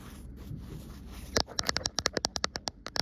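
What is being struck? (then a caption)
Cotton fabric tapped with fingernails. Long nails scratch softly across a soft green printed cotton fabric with a white line print spread flat, then tap the cloth in a quick series of about 15 short, crisp clicks.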